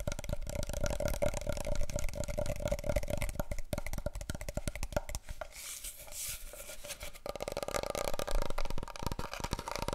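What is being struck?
Large cardboard paper roll tube.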